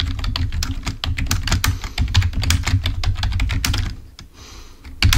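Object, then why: Plastic computer keyboard. Fingertips of both hands type rapidly on a full-size black plastic Microsoft membrane keyboard, wired and lying on a white table. A dense run of rapid key clicks with a low thumpy body and bright clack edges thins into a quieter hiss near the four-second mark. The clicks then resume loudly at the end.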